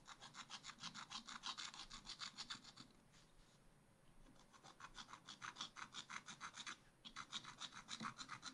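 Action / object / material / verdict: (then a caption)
scrape / wax-coated scratch art paper scraped with a wooden stylus / wax-coated paper / none. A wooden stylus vigorously scratches and rubs across a black wax-coated scratch art page in a spiral pad, scraping away the top ice cream scoops to reveal colour. Quick, bright, dry rasping strokes repeat at about three per second, then fade to a soft, quieter scraping for a moment before the fast strokes resume. They pause briefly once more and then continue to the end.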